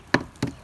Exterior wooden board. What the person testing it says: you can hear the sound difference. There's the solid.